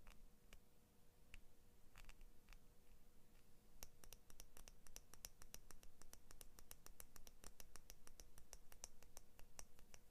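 Fingernails scratch and tap the thin steel blade of a small pair of plastic-handled scissors held in one hand. A few scattered, bright clicks come first, then after about four seconds a quick, uneven run of crisp metallic taps and scratches. A faint steady low hum sits underneath throughout.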